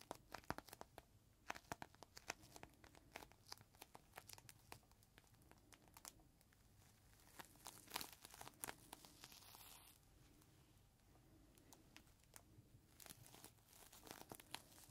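A clear plastic zip bag with a green microfiber cloth inside is held edge-on between the palms while fingertips squeeze and rub it. The plastic crinkles and crackles in dense, sharp bursts with bright hiss, rising to a louder flurry around the middle before settling back into steady crinkling.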